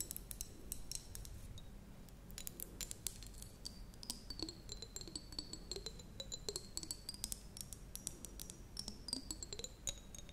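A small clear glass jar with water inside is held up and tapped rapidly with long blue acrylic nails, producing layered sounds. Quick, bright clicks run throughout over high ringing tones that slowly waver up and down in pitch. A soft, low rumble and faint swooping mid tones sit underneath.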